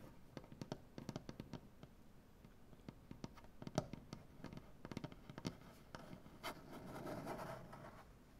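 Both hands scratch the wood of a large, solid maple butcher-block tabletop with their nails. Quick, dry clicks and ticks are scattered across the clip, then give way near the end to a steadier, rasping scratch with a faint hum. The sound is quiet and close, with a low, woody body and very little brightness.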